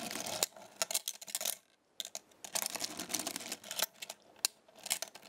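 A chain of small metal stars is lifted from a black magnetic star base and dropped back onto it with fingers and nails. It makes light, bright metallic clinks and soft scratchy taps in irregular bursts, with a short quiet pause near the middle. Each click is sharp and dies away almost at once.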